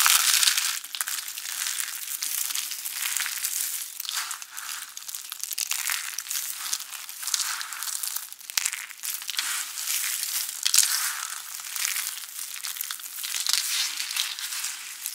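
Both hands squeeze and crush handfuls of small, dry, white and beige soap flakes and chips from a large pile on a yellow surface, then press and rub into the pile with fingertips and palms. The result is a dense, continuous run of dry, crisp crunching and crackling that is bright and high with almost no low end, swelling and easing with each squeeze.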